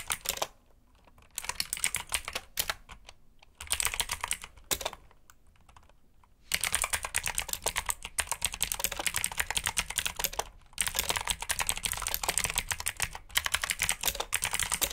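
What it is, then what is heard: Plastic mechanical keyboard being typed on. Both hands type with their fingertips on a black backlit mechanical keyboard with plastic keycaps. They make rapid, bright, clicky keystrokes in bursts, with short pauses between them. The clatter becomes a dense, steady stream after about six and a half seconds.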